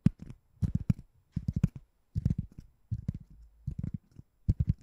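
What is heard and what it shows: A white, palm-sized, ring-shaped door stopper that looks like solid foam or rubber is held above the microphone and tapped and scratched with long painted nails. Quick clusters of soft, dull, low taps come in short bursts separated by brief pauses, with faint scratchy texture and no ring after each tap.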